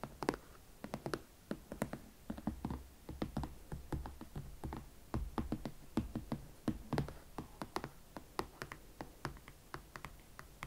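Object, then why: Leather platform boot. Long nails tap and scratch a single empty, hollow hot pink leather Valentino Club Chelsea ankle boot with a platform sole, working over the leather upper, the elastic panel area and the platform. Dozens of quick, dry taps land in an irregular rhythm, each with a soft low thud and a bright click that dies away almost at once, between quieter scratching rasps.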